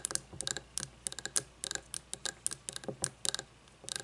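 Fingernails tap on a frosted glass candle jar with wax inside, resting on a wooden table. A quick, irregular run of short, bright clicks with almost no low end, each dying away almost instantly.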